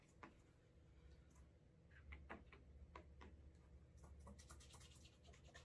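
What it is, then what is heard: Leather dress shoe being buffed. A cotton cloth buffs the toe, heel and side of a brown leather cap-toe Alden Straight Tip Blucher dress shoe to build a wax burnish. Quiet, brisk rubbing strokes give short, bright swishes over a steady low hum.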